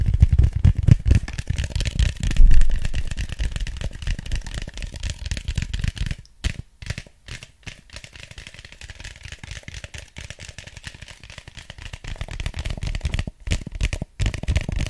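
An empty, hollow white styrofoam cup is tapped and scratched with the fingertips, then turned in the hands. The result is a dense, rapid rattling clatter with a heavy low-end thump and brief silent gaps.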